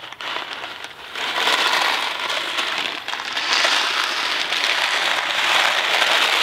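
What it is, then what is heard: Cardboard box of dry macaroni. A Kraft macaroni & cheese cardboard box full of dry pasta is held between both hands, handled and shaken. The result is a dense, continuous rattle and crackle of the loose pasta inside the cardboard, bright and without low end. It starts quieter and grows louder after the first second.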